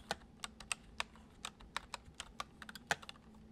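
Fingertips tap the keys of a full-size white plastic computer keyboard resting on a wooden desk, typing at an uneven pace. About 14 crisp, bright clicks each die away almost at once, over a faint steady low hum.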